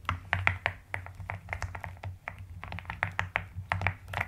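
Fingertips with long nails type steadily with both hands on a white-cased plastic mechanical keyboard fitted with pink and lilac plastic keycaps. The result is a quick run of short, dry clacks with a bright upper click over a soft, low, rounded thud, each dying away almost at once. A faint low hum runs underneath.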